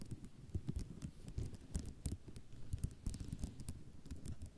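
Long nails tap and scratch across a flat sheet of small white ceramic mosaic tiles. Quick, dry clicks with bright high edges come in a rapid, uneven stream, each dying away almost instantly, over a soft, low-heavy patter and scratching.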